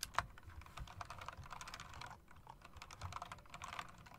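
A mechanical typewriter-style keyboard with round plastic keycaps and chrome metal rims is typed on rapidly by long-nailed fingers. It gives dense, continuous clacking, with short bright clicks centered around 1 kHz and a soft low thump beneath. A brief lull comes around two and a half seconds before the typing picks back up.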